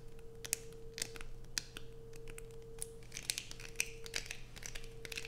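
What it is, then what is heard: Bar of soap being scratched. Long pointed nails dig into a solid light-blue bar of soap with a carved surface held in the hands, scratching off curls of soap. Quick, crisp, bright scratches and sharp clicks crackle irregularly throughout, over a steady low hum and a faint constant mid tone.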